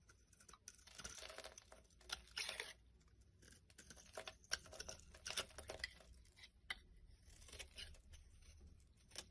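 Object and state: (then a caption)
Soap bar being scraped. A solid yellow soap bar with a ridged edge is held in the hand and scraped with a small black blade, peeling curly shavings onto a wooden board. Quiet, bright, crackly scraping comes in short irregular bursts, with sharp crisp ticks as the blade catches and the shavings curl away.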